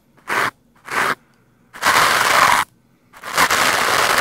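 A stiff-bristled green plastic scrub brush is rubbed against the sides of a black foam microphone windscreen. It makes four dry, crunchy, broadband scraping bursts: two short strokes, then two longer sustained scrubs with a bright, hissy top. Short silent gaps separate the bursts.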